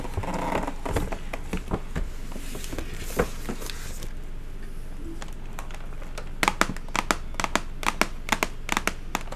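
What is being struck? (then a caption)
Cardboard gift box lid. Long matte acrylic nails scratch and tap on the flat, hollow lid of a silver cardboard chocolate gift box tied with a blue ribbon. Dense papery scratching with scattered clicks fills the first four seconds, then a quieter stretch gives way to a run of sharp, dry taps that stop instantly without ringing, over a steady low hum.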